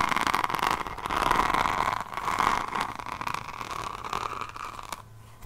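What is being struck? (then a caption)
Hardcover notebook edge with diamond-painted cover. Long nails scratch and tap along the page edge and spine of a hardcover diamond painting notebook held sideways. The result is a dense, dry, crackly scraping with a bright rasp centered around 1 kHz, in uneven rapid bursts that gradually soften and thin out toward the end.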